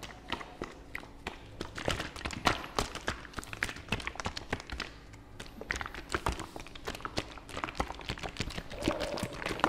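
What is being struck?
Plastic fabric softener bottle.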